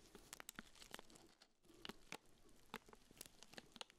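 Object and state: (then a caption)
Plastic-wrapped urinal cake. Black-gloved fingertips rub and crinkle the clear plastic wrap around a small, round, pink urinal deodorizer cake. The result is a quiet, steady stream of bright, dry crackles and sharp crinkling snaps, with a brief lull around the middle of the clip.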